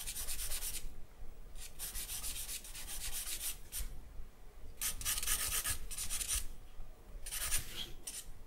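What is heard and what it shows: A charcoal stick is rubbed across the lower part of a sheet of white drawing paper laid on a black backing. The strokes come in short bursts of bright, dry scratching and rasping, separated by brief quiet pauses, over a faint low background rumble.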